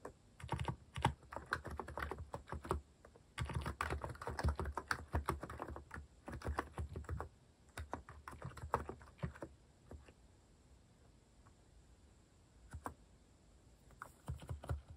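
Fingertips type quickly on a compact white-cased mechanical keyboard with cream, orange and brown cat-themed plastic keycaps resting on a wooden desk. Bursts of rapid, deep clacking keystrokes come in quick runs, fall to near silence for a couple of seconds with a single stray tap, then pick up again at the end.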